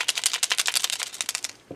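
A jar of acrylic model paint with a stainless steel mixing ball is shaken at different angles. The ball rattles loudly and freely in a rapid run of bright clicks, and a low thump follows at the end. The paint is now fully mixed.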